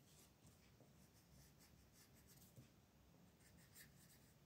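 A purple colored pencil rubs and scratches across a flat paper coloring book page resting on a table, filling in the lettering. The quiet, continuous strokes make a soft, bright, scratchy hiss over a low background rumble.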